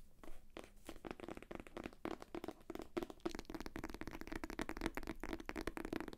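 Long nails scratch and tap the cover of a solid, thick paperback book sealed in plastic shrink wrap. The result is a dense run of quick, dry, crinkly taps and scrapes with a mid-pitched tone and almost no ring.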